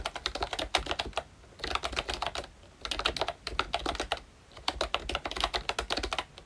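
Fingertips of both hands type continuously on a full-size, Mickey Mouse themed retro membrane keyboard with round plastic keycaps. It makes dense bursts of short, bright plastic clicks in three runs separated by brief quiet gaps, and each keystroke dies away almost instantly.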